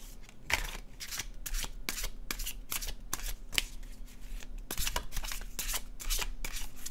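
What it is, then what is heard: Paper tarot deck being shuffled. An illustrated cardstock tarot deck is shuffled overhand in both hands, its cards sliding and flicking. The result is a run of quick, bright papery swishes and sharp flicks over a faint, steady low hum.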